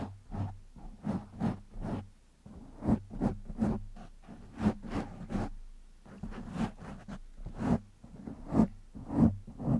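Fingertips of both hands scratch a black foam windscreen on a microphone, making a rapid series of soft, rustling scratches with low thumps. The bursts rise and fall unevenly, each with brief bright edges and almost no ring afterward.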